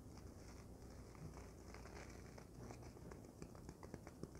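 A folded, soft and light white polyethylene foam packing sheet, held in one hand, is scratched and tapped with long nails. It makes a quiet, steady crinkly rustle with faint low rumble. Sharper, bright little taps and clicks stand out toward the end.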